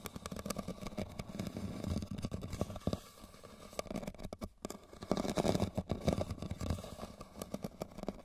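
Fingernails scratch and tap a hollow, tilted red woven rattan basket, making dense, rapid dry taps and scratchy rustling with a low, hollow body and little high end. The activity eases briefly in the middle before picking up again.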